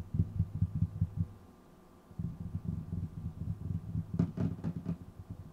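Fingertips of both hands tap and drum on a flat, solid, dark wooden tabletop beside the microphone, making rapid, dull, low thuds with very little ring. The drumming stops briefly for under a second, then resumes, with a few sharper, brighter taps near the end over a faint steady hum.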